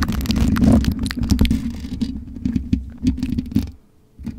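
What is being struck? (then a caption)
Metal mesh microphone grille. Long nails scratch across the black metal mesh grille of a USB microphone, producing a dense, low rumbling scrape with quick bright ticks and crackles. The scratching stays steady and close, then fades out near the end before a brief faint return.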